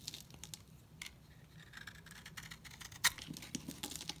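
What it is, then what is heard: Dry soap bar scraped with a knife. A solid white bar of dry soap, held in the hand, is carved and scraped with a steel utility knife blade, shedding flakes and shavings. The result is a quiet series of dry, bright, crackly scraping strokes, with one sharper, louder snap near the end.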